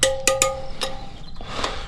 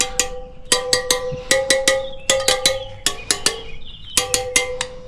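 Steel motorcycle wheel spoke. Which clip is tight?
The second.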